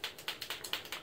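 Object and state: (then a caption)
Paint marker with liquid paint inside. A pearlescent white Marvy Uchida Deco Fabric marker, a liquid-based fabric paint marker, is shaken to mix the paint inside. Each shake gives a short, bright rattling click heard against a quiet background, showing the marker still holds liquid paint that needs mixing.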